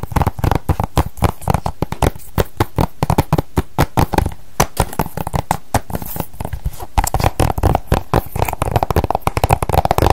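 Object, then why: Hard plastic game case. A small hollow hard-plastic PS3 game case with a printed cover insert is held in the hands and tapped and scratched with long decorated nails. Dozens of fast, dry, clicky taps with hollow low knocks follow one another with almost no ring. A softer scratching rustle fills the gaps in the second half.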